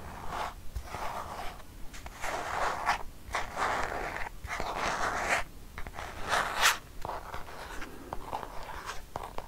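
Long painted nails scratch a filled white plastic squeeze tube of Dove hand cream, producing dry, scratchy rasps with short pauses between them. The bursts are strongest in the midrange with a bright, hissy edge and stay fairly soft throughout, with one sharper stroke near the end.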